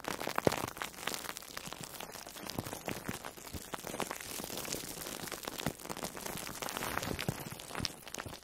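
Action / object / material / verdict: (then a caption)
scrape / foam sponge wrapped in plastic cling film / foam, plastic film / none. A soft, orange-slice-shaped foam sponge wrapped in plastic food wrap is squeezed and rubbed with long manicured nails. This makes a steady stream of dense, bright crinkling and crackling. A sharper snap comes near the start, and the rustling texture carries on evenly throughout.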